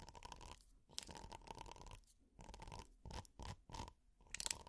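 Plastic finger picks scratch across a flat, textured, red hexagonal silicone pot holder. The result is bursts of dry, crunchy, bright scratching separated by brief quiet gaps, over a faint steady tone near 1 kHz.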